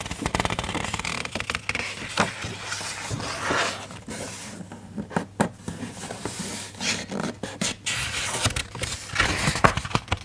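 A hand grips a paper page of a large open hardcover children's picture book, flips it over, and rests on the new spread. Crisp, bright paper rustles and swishes come with soft, short taps and scrapes as the pages turn and settle, in a quiet, close setting.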